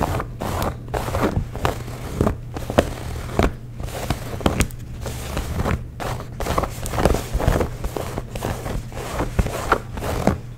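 Fingernails scratch and rub the thick cotton twill of light blue denim jeans near the belt loop and stitched seams. Repeated dry, scratchy strokes and brief rustling bursts rise and fall over a steady low hum.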